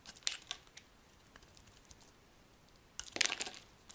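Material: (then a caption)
Soap. A solid yellow Duru bar soap held in the hand is shaved and scraped with a metal utility blade, peeling off dry, crumbly curls. Bright, crisp crackling scrapes come in short bursts: a few sharp ticks early on, a quiet stretch, then a denser, louder run of scraping near the end.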